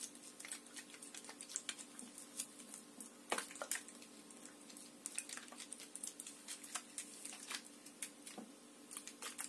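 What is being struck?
Plastic water bottle.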